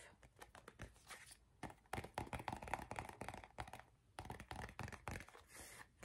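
Fingernails tap and scratch along the body of an empty, hollow gold plastic cosmetic squeeze tube turned sideways. Quick, irregular taps with short hollow knocks blend into dry, crinkly scratching that rises and falls in bursts.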